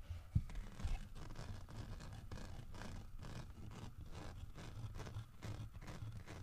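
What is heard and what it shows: Fingertips and nails scratch along the grooved back of a large, solid carved wooden bear figurine as it is handled and turned. The scratching comes in a steady series of soft, dry strokes, with a low rumbling undertone and one brief louder knock near the start.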